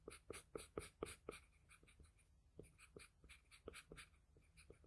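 A wooden graphite pencil tip makes dense, short scratching strokes on a flat sheet of drawing paper while drawing the lips. A quick run of crisp, bright strokes, each with a light low tap, comes first, then sparser and softer strokes follow. The overall sound is quiet, dry and scratchy.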